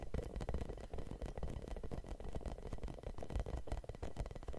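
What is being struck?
Hollow rubber spiky massage ball.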